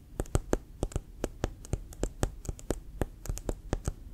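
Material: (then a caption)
Leather. Fingertips and short nails tap the pebbled, leather-like surface of a brown, inflated, leather-covered American football with a white stripe, held in one hand; the ball is hollow and air-filled. About 21 quick, soft taps come in a loose, uneven rhythm. Each is a dull, low thump with a faint bright click on top that dies away almost at once.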